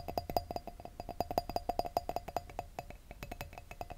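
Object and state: Wine glass tapped.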